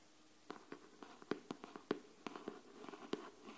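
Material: Cardboard.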